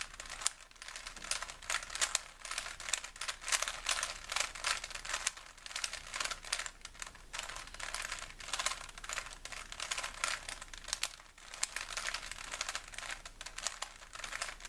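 A small solid plastic 3x3 Rubik's cube with colored stickers is held in both hands while fingertips twist its layers. This produces a continuous stream of quick, bright clicks and rattles with almost no low end, each click short and dry.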